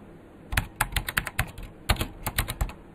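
A vintage beige plastic full-size KPT-102 mechanical keyboard with Alps switches and a hollow case is typed on quickly with the fingertips of both hands. About 13 sharp, clacky keystrokes come in quick bursts, each with a hollow low thump under a bright click that dies away almost instantly.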